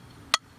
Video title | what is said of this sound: I got bored and decided to test my old bats | that doesn't sound like composite but it is